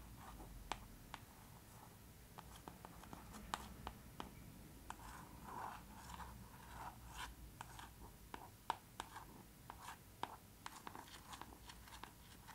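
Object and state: Hardcover book, glossy embossed cover.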